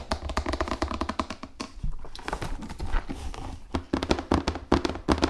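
A large, hollow cardboard Risk board game box, held upright and then flat, is tapped rapidly with fingernails on its printed surface and edge. The taps are short and dry, with a low hollow thump and almost no ring, falling in an irregular stream. After a softer stretch in the middle, they turn louder and sharper toward the end.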